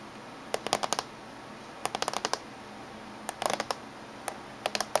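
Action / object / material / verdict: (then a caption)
tap / closed laptop casing / metal / none. Fingernails of both hands tap on the top surface of a closed silver laptop casing. Short bursts of quick, sharp clicking taps with bright high ends and almost no ring sound over a faint steady hiss, with quiet pauses between bursts.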